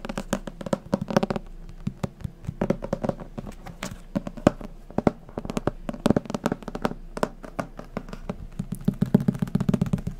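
A thick white paperback manga or book, with a paper cover and a solid block of pages, is held in hand and tapped quickly with fingertips and nails on the cover and page edges. The result is a continuous rapid run of dry, short taps and clicks with a dull low-mid body and almost no ring.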